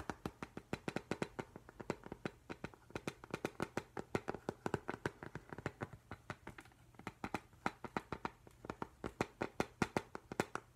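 Fingertips and nails tap rapidly on the glass front of a framed octopus print held close up, producing about 65 short, crisp clicks in an uneven, fast rhythm. Each tap is dry and dies away almost instantly, with a light knocking body and a bright click on top against a quiet background.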